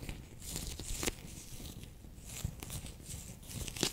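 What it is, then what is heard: Plastic pouch of water beads. A handheld bear-shaped clear PVC pouch full of orange water beads is pressed and squeezed with fingertips and long nails. The squeezing makes soft, wet, crinkly crunching and squishing, with low thuds underneath. Sharper bright clicks and crackles stand out near the start and end.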